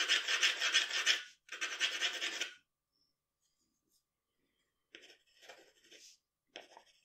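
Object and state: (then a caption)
Pencil shading on drawing paper. A graphite pencil scratches and shades the cheek and jaw of a drawing on a sheet of drawing paper. Two long, loud, bright rasping strokes are followed by a near-silent pause, then a run of shorter, quieter scratchy strokes.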